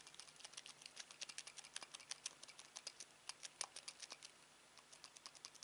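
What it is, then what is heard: Plastic TV remote control. A hand holds a black plastic Samsung TV remote, with the fingertips and thumb repeatedly pressing and tapping its rubber buttons. The result is a quiet, steady patter of short, bright clicks with almost no ring, set against a faint low hum.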